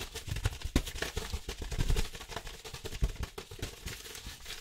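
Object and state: Kraft paper envelope.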